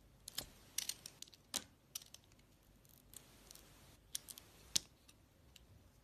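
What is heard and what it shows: A utility-knife blade cuts slices off a solid, glossy, oval orange bar soap with purple stripes and a white core. About sixteen quiet, sharp, bright clicks and crisp scraping snaps come at irregular intervals, each dying away almost instantly over a faint background hiss.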